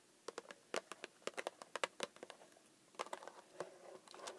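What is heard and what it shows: Long acrylic nails on both hands tap and scratch the top and side panels of a small, hollow pink cardboard Pocky box that appears full and is lying on a desk. A quick, uneven series of dry, sharp clicks with no ring is heard, each with a hollow midrange knock and bright edges, mixed with softer scratching. It ends in a quieter, steadier scraping.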